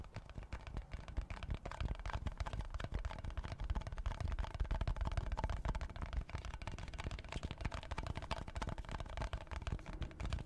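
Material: Plastic, cardboard.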